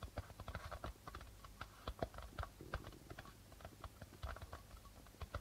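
Fingertips and nails tap and scratch the white plastic membrane of a hollow darbuka drum. A quick, uneven run of soft, dry taps mixes low thumps with a papery mid-range click and faint scratching. Each hit dies away almost at once.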